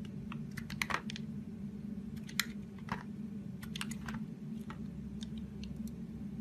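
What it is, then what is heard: Bar of soap scraped with a knife. A solid teal oval soap bar held in hand is scraped and sliced with a utility knife blade, giving a run of short, crisp, bright scraping clicks over a steady low hum. The clicks come in irregular bursts, with a few sharper peaks standing out.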